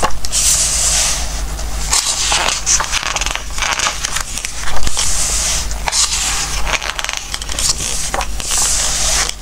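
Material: Glossy paper.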